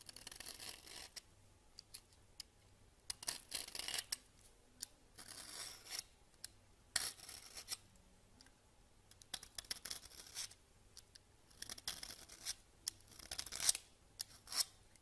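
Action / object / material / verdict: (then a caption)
scrape / soap bar scraped by a metal peeler / soap / none. A red-handled metal peeler scrapes a solid cream soap bar held over a countertop, grating it into fine shreds. Quiet, bright, dry scraping strokes come in short bursts with brief pauses, dotted with tiny crisp ticks and almost no low end.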